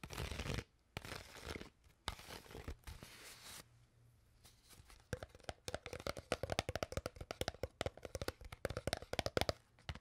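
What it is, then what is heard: Empty plastic water bottle. An empty, crushed, hollow clear PET water bottle is crinkled with long nails in several loud, broadband crackling bursts, then falls briefly quiet. A rapid, dense run of sharp nail taps follows to the end, each short click carrying a hollow plastic tone near 500 Hz.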